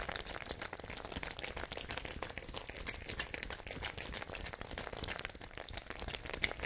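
A small, hollow, fabric-covered ice bag with a white plastic cap, holding water, is held up and shaken by hand close to the microphones. The result is a steady stream of quick watery sloshes and crisp crinkly clicks, bright and dense, with a soft low rumble underneath.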